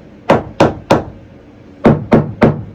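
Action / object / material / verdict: tap / narrowboat floor over the bilge, struck with a hammer / unknown / hollow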